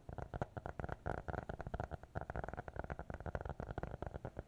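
A small closed black notebook with a hard cover and elastic band, held in both hands, is tapped and scratched with fingertips and nails. The result is a quick, uneven run of soft, dull, low thuds mixed with short scratchy rasps, each dying away almost instantly with no ring.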